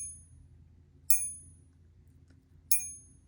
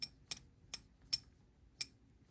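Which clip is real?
The first.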